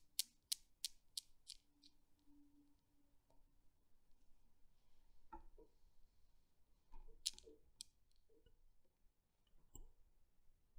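A long-nailed hand sets the small, solid chrome steel balls of a desktop Newton's cradle swinging, and they knock together. A quick, fading run of bright, sharp clicks opens the clip, then a quieter stretch with a few soft, duller taps and scattered bright clicks.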